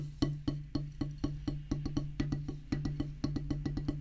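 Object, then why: Rubber practice pad on wooden base. Two wooden drumsticks tap quickly on a solid black rubber practice pad set on a wooden base, giving 21 short, dull knocks. The strikes have a low hum-like tone near 145 Hz and die away almost at once. The rhythm is fast and uneven, at roughly two taps per second.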